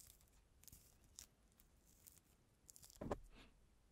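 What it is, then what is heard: Peeled orange, pith being picked off. Fingertips and nails pick and scratch the white pith and membrane off a small, solid, whole peeled mandarin orange held close to the microphone. Quiet, soft crackling and faint tearing scrapes run throughout, with brief bright ticks. A louder, sharper crunchy peel comes just after three seconds.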